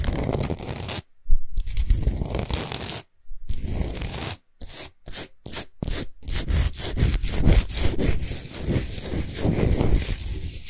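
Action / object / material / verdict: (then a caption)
scrape / rock salt sphere lamp / rock salt / none. Long nails of both hands rapidly rub and scratch a large, solid Himalayan salt sphere lamp lit from inside. Dry, gritty scraping comes in dense bursts with brief silent breaks, carrying a heavy low rumble under a bright hiss. The strokes grow quicker and choppier before settling into steady scratching.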